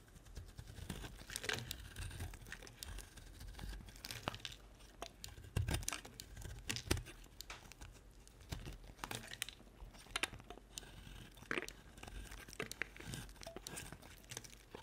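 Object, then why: Bar of soap. A solid white bar of soap with a pink rim, held in the hand, is carved into chips with a utility-knife blade. The blade makes crisp, crinkly scraping and crunching strokes, with sharp bright clicks as chips break away, over a soft low rumble.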